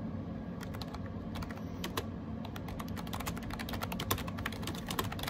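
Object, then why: Plastic keyboard with round keycaps. Fingertips type rapidly on a gray AJAZZ 308i wireless Bluetooth keyboard with round plastic keycaps. A quick, uneven stream of short, bright clicks plays over a steady low background hum.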